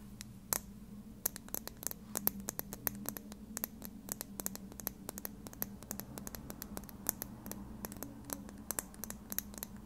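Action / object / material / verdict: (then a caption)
tap / small plastic lip gloss tube / plastic / none. Long red nails scratch and tap a small, slim plastic lip gloss tube with a dark cap, hollow and filled with gloss. Rapid, sharp, bright clicks rise at irregular intervals over a soft, steady scratching texture and a low hum.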